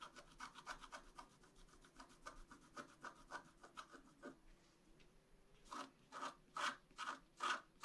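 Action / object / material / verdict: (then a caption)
scrape / black-coated scratch-art paper card scratched with a wooden stylus / coated paper / none. A flat black-coated scratch-art card, held in one hand, is scratched with a wooden stylus in twenty short, dry, raspy strokes. The strokes come quick and soft for the first four seconds, pause briefly, then return louder and slower with a brighter scrape at the end.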